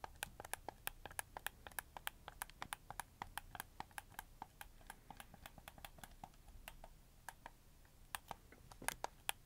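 A red camo plastic PS4 game controller is held up in both hands while fingertips click its triggers and shoulder buttons. Dozens of quiet, sharp, bright plastic clicks land in quick, uneven succession, each dying away instantly over a faint low background rumble.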